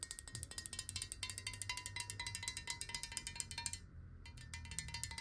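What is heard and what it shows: Long nails rapidly tap the sides and base of a clear, hollow square glass water bottle with water inside as it is rotated. The result is a dense run of bright, sharp clicks over a faint glassy ring near 1 and 2 kHz, briefly thinning out just before the four-second mark before the tapping picks up again.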